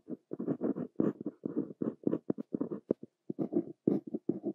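A fine metal nib of a Pilot Elite 95S fountain pen, held in the fingers, writes across a flat sheet of white writing paper on a desk that is already filled with Korean handwriting. A quick run of short, dry, papery scratch strokes comes in rapid bursts with brief pauses. The tone is soft and low-mid, with little deep bass or bright hiss.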